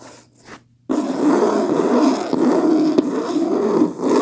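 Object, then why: Linen cloth-covered hardcover book. Long fingernails scratch the front cover of a beige linen cloth-covered hardcover book lying flat on a blanket. After a faint, near-silent start, a dense, continuous raspy scratching begins at about 0.9 seconds and runs to the end, with a brief sharp tick near the 3-second mark.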